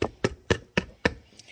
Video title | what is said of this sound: How to Make Bread - Bread Baking 101 Lunch Thyme with Leona | that's that Hollow sound and that is your indicator to let you know our bread is ready